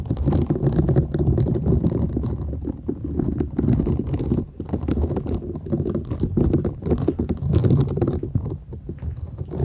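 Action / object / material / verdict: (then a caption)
scrape / silicone scrubber sponge with short bristles / silicone / none. Long nails scratch the short bristles of a flat, thin, solid purple silicone scrubber sponge held folded in both hands. The result is a dense, continuous scratchy rustle with a heavy low, muffled body and faint brighter hiss, rising and falling in rapid strokes throughout.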